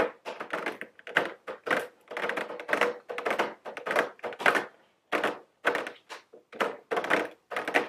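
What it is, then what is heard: Cardboard gift box tapped with long nails. Very long blue nails tap on a medium square cardboard nail polish gift box, held upright, with a round plastic window over the nail polish bottles. It makes quick, irregular clusters of dry, light clicks and taps with some scratchy texture and almost no ring, separated by brief pauses.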